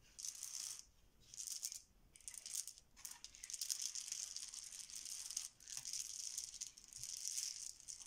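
Small, solid, cream plastic Bananagrams letter tiles spread on a marble countertop are shuffled and pushed around with the spread fingertips of both hands. The tiles clack together in bright, rattling bursts separated by brief pauses, with a longer continuous stretch of clatter in the second half.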